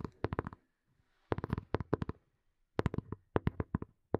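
Fingernails tap and scratch a small, hollow black plastic earphone case held close to the mic. About eighteen quick, dry taps land in three rapid clusters separated by brief silences, with one last tap at the end. Each tap is a short, hollow knock with a low, woody body and no ring, plus faint scratching between them.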